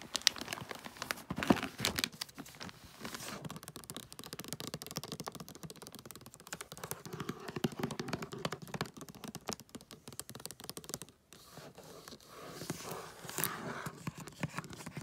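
Fingernails tap and scratch across a flat rectangular gift box wrapped in holographic tree-print foil paper with tape. The result is a dense stream of quick, dry, crinkly taps and bright scratchy rustles, with a brief near-silent gap around 11 seconds before the tapping resumes.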